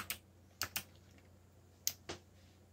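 Fingertips type on a backlit plastic mechanical keyboard with black plastic keycaps, producing five separate bright, sharp key clicks. Each click ends almost instantly, with irregular pauses between strokes over a faint low hum.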